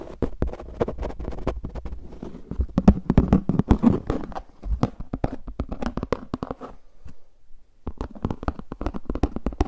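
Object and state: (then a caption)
Plastic frisbee disc. Fingertips tap and scratch the face of a translucent plastic frisbee disc with a red rim while the disc is moved around. Quick, dry, dull clicks and scratches run almost continuously, with a short lull near the 7–8 second mark before the tapping resumes.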